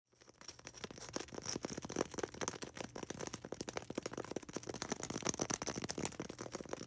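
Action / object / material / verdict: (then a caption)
tap / polystyrene foam ball / polystyrene foam / none. Long red acrylic nails rapidly tap and scratch a small, solid white polystyrene foam ball held in the hands. The result is a dense, continuous stream of short, dry, crisp clicks and scraping rasps with a bright, high edge. A faint low hum sits underneath throughout.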